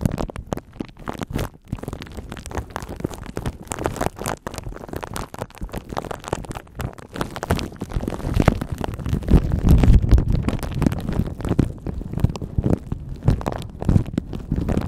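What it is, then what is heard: Plastic wrap on microphone. Fingertips and nails rub and scratch a thin clear plastic bag wrapped around a microphone, making a dense, continuous crinkling and crackling that sounds mostly low and muffled with a thumping rumble. The scratching is irregular and grows louder and heavier about halfway through.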